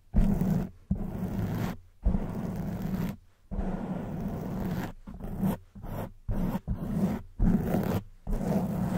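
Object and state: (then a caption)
Foam microphone windscreen. Long white acrylic nails on both hands scratch the black foam windscreen of a silver microphone. The result is a series of close, muffled, rumbling scrapes with a steady low hum, broken by brief silences. The sound is heavy in the bass with almost no bright top.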